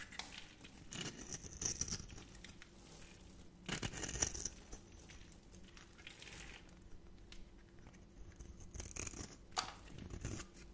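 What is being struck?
Bar of soap scraped with a metal blade.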